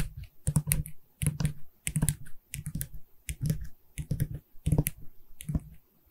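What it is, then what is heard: Hollow wooden canvas stretcher frame. Long red nails tap quickly on the wooden side bar and then the top edge of a medium, hollow pine canvas stretcher frame with a canvas back. The taps come in short bursts of dry, hollow knocks. Each has a low, woody body and a bright clicky tip that dies away almost at once.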